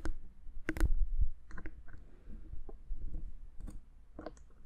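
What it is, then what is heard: Plastic handheld audio recorder tapped with fingernails. A black plastic Zoom H6 handheld audio recorder, a hand-sized hollow electronic housing with knobs and metal mic capsules, is held in one hand and tapped with long manicured fingernails on its front panel and sides. Short, dry clicks and taps come at an irregular pace, each with a sharp bright tick over a low, thumping body.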